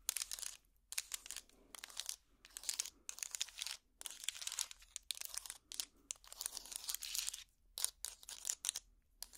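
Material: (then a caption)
Wood. A hot pad trivet made of small solid wooden blocks is held up and scratched with long plastic finger picks. Bursts of dry, bright, crackly scratching come in quick runs with short silent gaps between them. The sound is almost all high-pitched, with very little low end and no ringing after each stroke.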